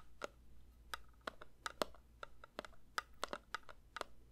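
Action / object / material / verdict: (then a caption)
tap / metal candle tin / thin metal / none. A metal candle tin is lightly tapped with the fingers, giving about fifteen quick, soft taps in an uneven rhythm. Each tap is a short, dry click with a faint metallic ring near 600 Hz and 1.3 kHz that dies away almost at once, over a low, steady hum.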